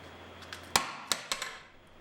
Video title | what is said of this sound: 신비한 물질, 유리 | 강화 유리의 경우 망치로 내려치는 수준의 힘을 가진 500g의 쇠구슬을 끝까지 견뎌냅니다